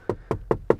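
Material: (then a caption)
Hard plastic. Four quick knocks on the hard plastic lower dashboard and door trim inside a Renault Rafale Hybrid 4x4 300 hp Atelier Alpine give short, dull, hollow taps with no ring. The trim sounds hollow and lacks padding where the knee rests, so it is less well finished than the padded top of the dashboard.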